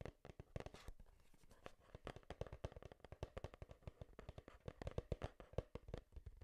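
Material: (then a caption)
Cardboard. Long nails tap quickly on a small, hollow, printed cardboard Game Boy box held near the microphone. The result is a dense, uneven stream of short, dry, hollow knocks with a low thump and almost no ring.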